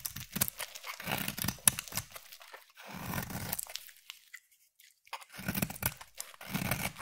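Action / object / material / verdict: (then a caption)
scrape / bar of soap / soap / none. A utility knife blade shaves curls off a palm-sized, solid green striped bar of soap. The result is crisp, dry scraping and tearing strokes with a soft low body and bright, hissy edges. They come in bursts, with a near-silent pause in the middle before the shaving resumes.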